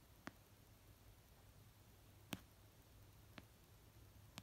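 A fingertip and nail tap slowly on an orange paperback novel of solid paper resting on a blanket. Four short, dry taps land at uneven intervals, each a quick click with no ring, over a quiet background with a faint low hum.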